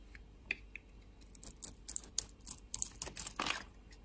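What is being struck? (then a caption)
Bar of soap cut with a blade. A utility-knife blade cuts and scrapes curls off a solid black bar of dry soap with a white core, held in the hand. After a few faint ticks, a quick series of crisp, bright scraping and crackling bursts builds up, ending in one longer rasping scrape before fading quiet.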